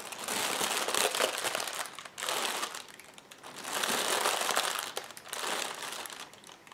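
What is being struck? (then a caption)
Polyethylene air-pillow packing strip. Fingertips and long painted nails press, tap and scratch across a long strip of clear, hollow, inflated polyethylene air-pillow packing cushions lying on a white table. The result is dense, bright crinkling and crackling plastic that rises and fades in several swells.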